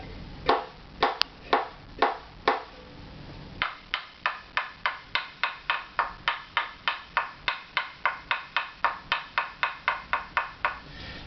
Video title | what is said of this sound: How To Use my 'Wood Reference Tap Tone Tool' | you start with the frequency that's too low and you just tap up